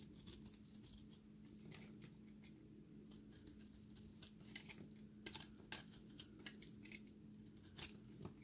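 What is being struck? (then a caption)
Soap ball carved with a metal blade. A metal utility blade carves and scrapes a solid, dry recycled soap ball with a blue and orange core, flaking pieces off it. Short, bright, crackly scraping bursts repeat irregularly over a steady low hum. Flakes of soap crumble away from the ball.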